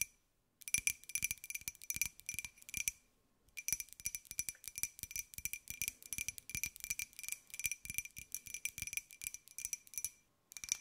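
A small, hollow, white glossy ceramic pineapple jar is tilted in the hands and tapped on its side and rim with long nails. Rapid bursts of bright, clicky taps carry a faint steady ring near 2.4 kHz, with each tap dying away almost instantly. The bursts stop briefly after about three seconds and again just before the end.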